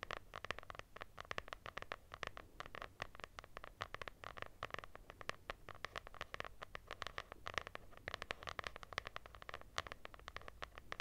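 Long nails scratch a lilac hardcover notebook with a textured cloth cover and a solid paper block. The result is a quiet, continuous run of rapid, dry scratching strokes, each brief and crisp with a bright rasp and no ring.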